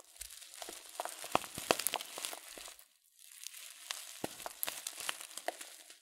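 A filled, glossy coated-paper tea packet of loose-leaf tea is crinkled with the fingertips, giving dense, bright crackling and rustling with sharp crisp snaps. It comes in two bursts separated by a brief quiet pause near the middle.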